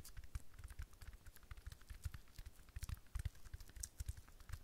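Long fingernails tap rapidly on a rhinestone-studded decorative sphere held close in both hands, producing a quick, dense patter of small clicks. Each tap is very short, with a low thud underneath and faint bright ticks above, and the taps run together unevenly throughout.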